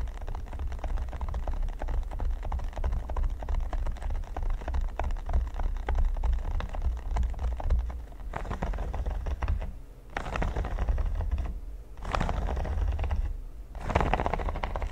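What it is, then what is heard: Silicone pyramid baking mat. A large, flat red silicone baking mat studded with pyramids is tapped and scratched with the fingertips and short nails of both hands. The result is a dense, fast patter of soft, dull taps and scratchy rustling with a low, thumpy body. Near the end it breaks into brighter scratchy bursts separated by brief lulls.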